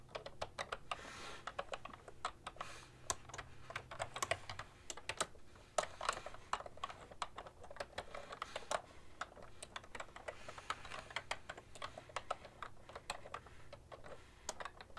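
A full-size beige and white plastic ergonomic keyboard with a hollow body rests on a desk while both hands type continuously, fingertips and long nails tapping the keycaps. Dense, rapid clacks with short, bright clicks come in uneven bursts over a faint low hum throughout.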